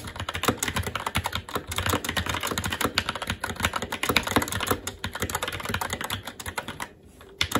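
Fingertips of both hands type fast and continuously on a SteelSeries Apex 7 TKL mechanical keyboard with plastic keycaps on a metal top plate and Red linear switches. A dense stream of short, bright clacks and thocks overlaps with almost no ring. There is a brief pause near the end before the typing resumes.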